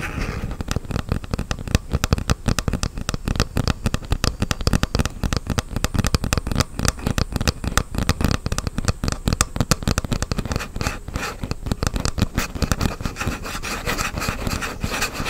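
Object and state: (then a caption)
Plastic game controller scratched. A black plastic Joy-Con grip with white Joy-Cons attached, handheld controller size, is held close and its plastic surface is rubbed and scratched with fingertips and nails. A dense, steady run of short, dry scratching clicks and crackles continues throughout, with most of the energy in the low end.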